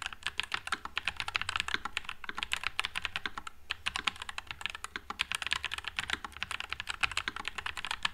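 Two hands type with their fingertips on a white low-profile Nuphy Air96 mechanical keyboard with Wisteria switches and plastic keycaps. The result is a rapid, steady stream of short, bright clacks, crisp and dry with almost no ring, centered around 2.5 kHz with little low end.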